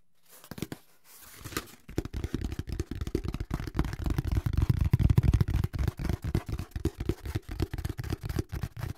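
A flat brown corrugated cardboard sheet is scratched across its ribs with fingertips, then held up and tapped with fingers. A few faint scratchy rustles open the clip, followed by a dense run of quick, dull, low-pitched taps with almost no ring. The taps speed up and blur together in the middle, then thin out into a steadier pattern.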